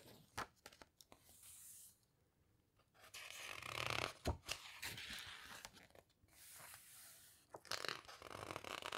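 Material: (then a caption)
Glossy paper. A flat hand with long red nails rubs and squeezes the right-hand glossy page of an open hardcover guitar book, then turns it. Soft, bright papery swishes and crinkles alternate with sharp little taps and crackles, and a quick rustle marks the page turning.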